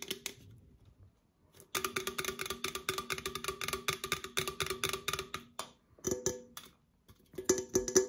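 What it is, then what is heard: Aluminum soda can, tapped with nails. An opened, hollow red Coca-Cola aluminum can is held close and tapped and scratched with long nails on its side and lid. Rapid runs of bright, clicky metallic taps ring briefly with a hollow tone near 380 Hz. They come in bursts separated by short quiet pauses.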